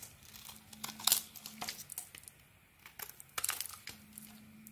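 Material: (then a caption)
Soap. A small razor blade scrapes and shaves chunks off a cream soap bar with a red coating, held in the hand. Quiet, dry, bright scraping and crinkly shaving bursts come in clusters, with soft faint gaps between strokes.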